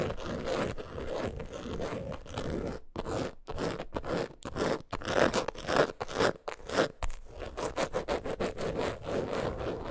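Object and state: Coated canvas wallet scratched.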